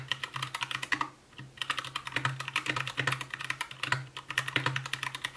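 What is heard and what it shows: Continuous fingertip typing with both hands on an Anne Pro 2 60% mechanical keyboard with white plastic keycaps, a translucent case, RGB backlight and Gateron brown switches. Rapid, bright plastic clacks come in quick bursts with a brief pause near the one-second mark, over a steady low hum around 129 Hz.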